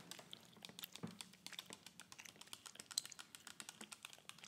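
Long acrylic nails tap and scratch a small clear plastic spray bottle with a black trigger head, partly filled with liquid and held in both hands. The result is a quiet, rapid stream of dozens of crisp, bright clicks and light scratches, each dying away almost instantly, with a faint low hum near the one-second mark.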